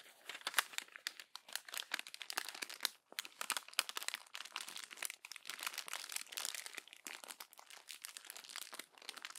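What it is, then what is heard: Crumpled glossy magazine paper. Pages of an open glossy paper magazine are crumpled by hand, with long nails gripping the crinkled paper. Dense, bright crackling and crunching fills the clip in quick overlapping bursts, with a few brief pauses and almost no low end.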